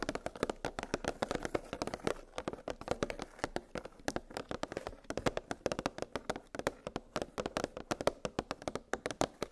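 Long pink nails tap rapidly on a clear, hollow plastic clamshell blister package holding nested metal gingerbread cookie cutters on a cardboard backing. About sixty quick, dry taps come in uneven bursts, each with a hollow mid-pitched plastic tone and almost no ring.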